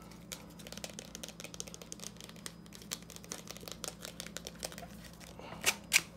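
Fingertips rapidly tap and scratch the fine metal mesh and plastic rim of an empty small yellow plastic hand strainer. The result is a quick, irregular stream of bright, dry crinkling ticks and scrapes over a faint steady low hum, with two louder, sharper taps near the end.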